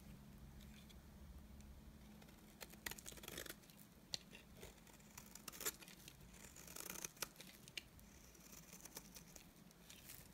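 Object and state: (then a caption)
Cream bar soap being scraped. A utility knife blade scrapes shavings off the face of a solid, dry, cream-colored rectangular bar of soap. The result is a quiet run of crisp, bright rasping and crumbly scratches, with sharper louder strokes now and then over a faint low hum.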